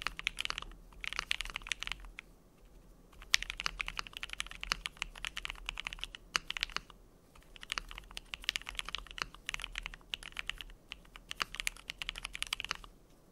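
Both hands type rapidly with fingertips on a compact KBD67Lite mechanical keyboard with a plastic case, polycarbonate plate, lubed Gateron CJ switches and doubleshot PBT plastic keycaps. Quick bursts of dry, bright key clacks with very short decay come in runs separated by brief pauses, with occasional louder strikes.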